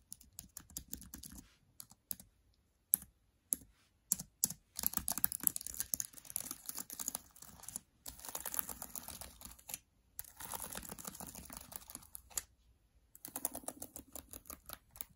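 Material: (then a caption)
Plastic. Fingertips with long dark nails type fast on the black plastic chiclet keys of an open MacBook Air laptop, the keys set in an aluminum body. Quick, bright, dry key clicks come in dense bursts separated by short pauses, each tap stopping instantly with no ring.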